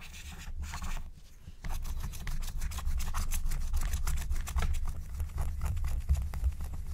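A wooden stylus scratches a thin black-coated scratch-art card lying flat, using quick, short strokes. The result is a fast, uneven run of dry, bright scratching over a steady low rumble, with a brief quieter pause near the start before the strokes continue.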